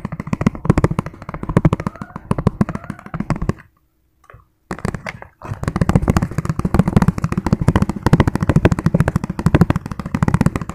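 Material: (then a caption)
Plastic. Fingertips tap fast on a hollow, empty, clear ribbed plastic food container, making a dense stream of short, dull, low-pitched plastic taps. The tapping stops briefly for about a second near the middle, then resumes just as rapidly until the end.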